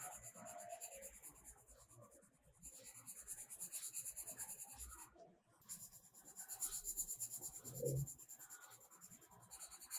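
A blue metallic colored pencil is rubbed back and forth over a page of a spiral-bound paper coloring book lying flat, shading in the petals. The quiet, steady scratchy rubbing has a bright, hissy texture and pauses briefly twice before the shading strokes resume.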